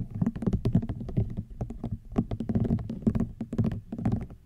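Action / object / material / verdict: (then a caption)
tap / woven rattan basket / rattan / none. Fingernails tap and scratch on a woven rattan wicker basket. The result is a dense run of soft, dull clicks and scratchy rustles with a low, hollow body, and each tap fades almost at once.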